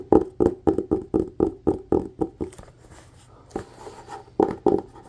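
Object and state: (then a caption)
Cloth-covered hardcover book. A solid red hardcover book with a textured cloth cover is held upright and tapped fast with fingertips and nails on the cover. Fifteen short, dull, mid-pitched taps land in a quick run, pause briefly with soft scratchy rustling, then resume. Each tap dies away almost instantly.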